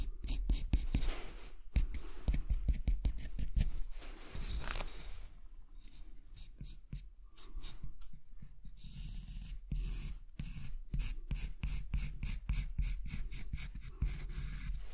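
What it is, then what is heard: Wooden block. A marker pen tip is drawn over a large, solid, light-colored wooden block, first from above and then with the block turned on its side, tracing an outline. Dry scratching and rubbing strokes repeat in quick, short bursts, with brief clicks and a bright, hissy edge over a steady low rumble.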